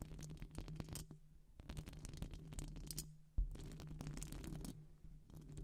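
Long acrylic nails scratch and tap both-handed on a hollow silver metal wire-mesh microphone grille. Bursts of close, crackly scratching and clicking taps carry a steady low hum underneath, with bright ticks on top. The bursts pause briefly, and a louder knock brings back denser scratching.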